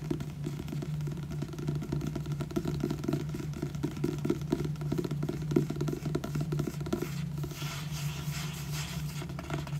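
Fingernails scratch and fingertips rub across the front cover of a solid, purple, glossy paperback book, making quick, dense scratching strokes over a steady low hum. Around seven seconds the scratching gives way to a softer, smoother rubbing with a brighter, airy hiss.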